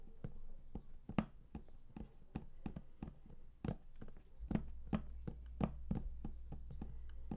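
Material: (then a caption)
Cardboard. Fingertips tap across the lid of a large, flat, closed and hollow cardboard collector's box for a game, producing a steady run of quick, dull, low knocks that stop almost instantly. The taps vary slightly in strength, and a faint low hum runs underneath through the second half.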